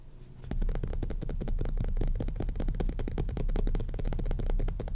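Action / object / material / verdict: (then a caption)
scrape / cloth-covered hardcover book / cloth / none. Short fingernails scratch and rub the maroon cloth cover of a hardcover book lying flat. After a brief quiet start, a dense run of quick, dry scratching strokes follows, with a heavy low rumble beneath them and short streaks of brighter texture on top.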